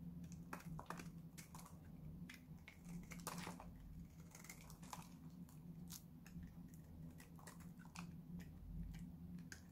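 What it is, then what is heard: Dry bar soap. A small, solid, dried-out pink Lux soap bar is held in the hand and shaved and cut with a utility knife blade, dropping flakes onto a pile below. Many quick, dry, crisp scraping and cracking clicks with bright edges sound in irregular bursts over a steady low hum.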